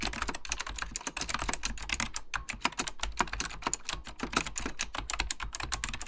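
Fingertips type continuously on a beige plastic full-size Apple Extended Keyboard II, pressing its hollow plastic keycaps over mechanical switches. Rapid, crisp clacks with bright, clicky tops and a hollow plastic body follow one another in a dense stream of short, quickly decaying taps over a faint steady low hum.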